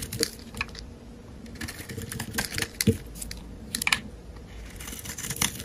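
A metal utility-knife blade shaves and scrapes thin curls from the surface of a solid, translucent, pale green, hand-sized bar of soap held in the hand. The result is a series of short, crisp, dry scraping and crackling strokes with a bright, brittle edge and almost no ring. Faint low rumbles sit underneath.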